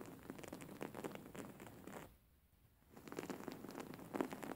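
A white embroidered cotton cushion with flower embroidery, held upright, is scratched by fingertips and nails. The result is quick, soft scratchy rustles and crackles with a mid-range body. About two to three seconds in, they break for a near-silent pause, then resume.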